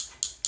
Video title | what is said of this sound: Blush Lipsense Application #blush #firstimpressions #lipstick #mattelipstick | if you hear that clicking noise it's actually a bead mixing up the color